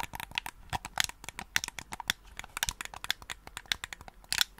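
A black, hollow, hand-sized hard-plastic gamepad is held in both hands close to the microphone while fingertips click its buttons and tap its casing. A rapid, irregular stream of short, dry clicks and taps follows, bright and crisp with almost no low end, each dying away instantly.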